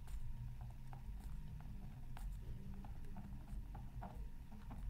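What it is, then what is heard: Scratch art paper being scratched. A bamboo stylus tip scratches across a flat, black-coated scratch art card resting on a mat. Quiet, short scratchy strokes and ticks come in irregular bursts over a steady low hum.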